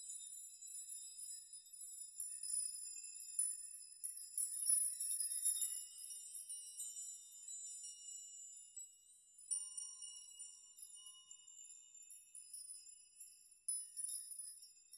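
A chime made of hanging metal nails clinks softly as hands gently brush its strands. The sound is a quiet, bright, high tinkling with no low end, made of overlapping jingles that swell in the middle. Fresh flurries of clinking start near the 9.5 and 13.7 second marks and then fade.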